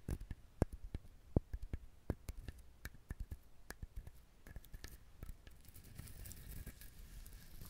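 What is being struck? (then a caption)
Coconut shell. Fingernails tap and scratch the hard shell of a whole brown coconut held beside the microphone. Quiet, dry, irregular taps with short low knocks give way in the last few seconds to a steady, hissy scratching across the shell.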